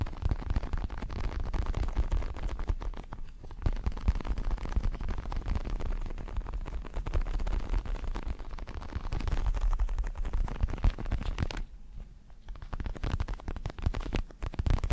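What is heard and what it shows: Fingertips tap and scratch the red leatherette surface of a large, padded red and black Everlast synthetic leather boxing glove. The result is a dense, continuous stream of soft, low, muffled scuffs and thumps with a brief lull just before the end.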